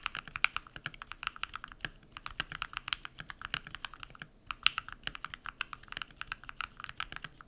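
A compact modded mechanical keyboard with white PBT plastic keycaps and lubed switches is typed on rapidly with bare fingertips. It makes a quick, steady stream of short, crisp clacks with a bright tone around 2.7 kHz and almost no low end. Each keystroke dies away almost instantly.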